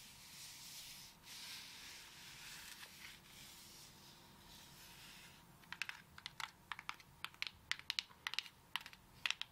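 Long acrylic nails rub across the fibrous shell of a whole brown coconut, making a soft, bright scratching hiss for the first half. They then switch to quick, sharp, dry taps with almost no ring, clicking in a rapid, uneven series until the end.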